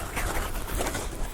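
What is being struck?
Nothing is struck.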